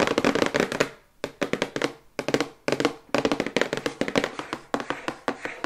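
The back of a glossy printed cardboard toothbrush box, held upright in both hands, is tapped rapidly with long white acrylic nails. About 30 quick, dry, hollow clicks come in fast bursts separated by brief pauses, each ringing out almost instantly, with a papery mid-range tone and little low end.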